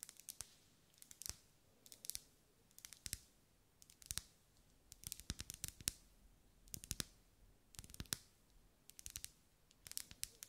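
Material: Wax.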